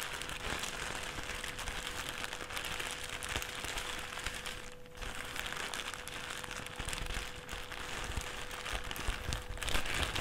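A thin, empty white plastic carrier/trash bag, bunched up on a table, is crinkled and pressed with the fingertips and palms of both hands. It makes a dense, continuous crackling rustle with bright hiss and a steady faint tone near 500 Hz underneath. There is a brief lull just before the five-second mark, and the crinkling grows slightly louder toward the end.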